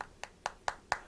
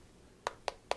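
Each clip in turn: First: solid aluminium phone back. Second: polycarbonate plastic phone back.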